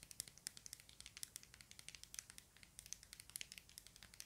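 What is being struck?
Plastic puzzle cube.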